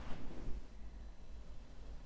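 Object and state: Nothing is struck.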